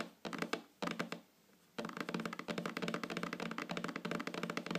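Long fingernails tap rapidly on a flat, solid wooden tabletop. Two short bursts of dry, clicky taps are separated by a brief quiet gap, then a steady, continuous flurry of quick taps runs to the end. Each tap is short and woody, with almost no ring.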